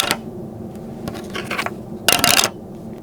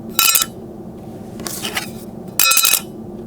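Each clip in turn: First: plastic-and-metal credit card that sounds like plastic when dropped. Second: all-metal credit card.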